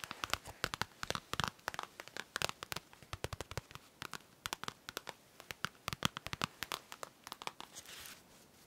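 Long nails tap and scratch a hand-sized holographic vinyl brush case, making dozens of quick, crisp, crinkly clicks with a bright, plasticky edge. The taps come in uneven bursts. A short scratchy rustle near the end trails off into quiet.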